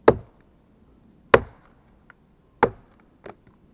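A gloved hand chops repeatedly at a large solid pine log on the pile with a steel-headed axe. Three sharp, woody chops land about 1.3 seconds apart, each with a mid-pitched thunk and a very short decay. A fainter double knock follows at the end.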